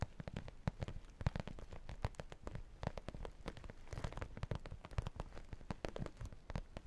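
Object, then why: Sequin and vinyl makeup bag. Fingernails scratch the sequin top of a small, hollow makeup pouch made of sequins and holographic vinyl, then fingertips tap its vinyl and sequin side close to the mic. The result is a quiet, dense stream of quick, dry taps and crackly scratches with a soft, hollow, bass-heavy thump and almost no ring.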